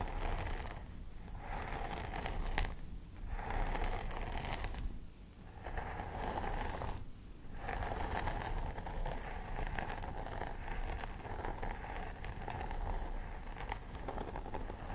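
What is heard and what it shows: Long nails on both hands scratch the scalp of a life-size plastic doll head with synthetic hair, making a steady, crisp, rustling scrape. Brief pauses come in the first half, then the scratching runs on continuously over a dull low rumble.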